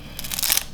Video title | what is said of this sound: Crispy Pork Belly หมูกรอบแบบไม่ต้องตากแดด - Episode 189 | you can hear the sound it's so crispy